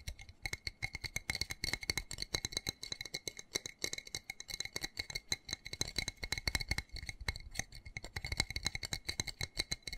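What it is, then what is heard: Plastic plant pot. Fingernails rapidly tap and scratch the textured, embossed side of a small black plastic flower pot with a white pattern, filled with soil and holding a cactus, while it is held in the hands. A dense stream of sharp, dry clicks and rattly scratches with a bright plastic tone repeats quickly throughout, each tick dying away almost instantly.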